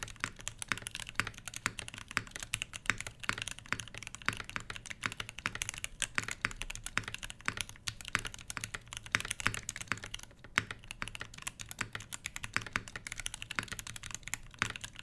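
A full-size HBCP mechanical keyboard with Everglide Crystal Purple switches, plastic keycaps over a brass plate and a solid body sits on a fabric desk mat while both hands type continuously with the fingertips. Dense, quick, bright clacks follow one another steadily, each dying away almost instantly over a faint steady low hum.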